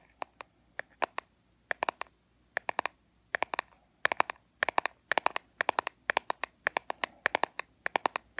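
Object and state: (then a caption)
Plastic powder compact. Long fingernails tap and scratch on a small, flat, black plastic Fit Me pressed-powder compact with a clear window lid. Quick bursts of sharp, dry clicks with a bright edge come in irregular clusters, centered around 1 kHz. Each click dies away almost instantly, with faint scratching between them.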